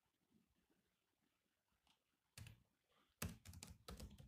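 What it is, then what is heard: Laptop keyboard with plastic keys. Fingertips of two hands type steadily on the low-profile plastic chiclet keys of a grey metal-bodied laptop resting on a desk. Faint, soft tapping for the first two seconds gives way to sharper clusters of clicky keystrokes, each with a low thud and a bright click that die away almost at once. The typing ends in a dense, louder clatter.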